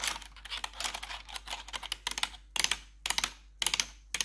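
Long pointed metal claw nail covers worn over blue-gloved fingers tap and scratch a full-size black plastic backlit RGB computer keyboard with hollow keycaps. A rapid stream of bright, crisp clicks for the first couple of seconds gives way to short, sharp bursts of clicks separated by brief pauses. Each click is dry and dies away almost instantly, with very little low end.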